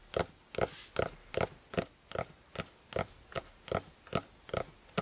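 Fingertips of both hands tap the maroon fabric-covered hard cover of a closed A5 spiral notebook lying flat on a quilt. About a dozen short, dull taps follow one another at a brisk, slightly uneven pace, each dying away almost instantly, with a mid-pitched, slightly hollow knock.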